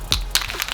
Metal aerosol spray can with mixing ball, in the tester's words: now there's like no noise but if you keep shaking it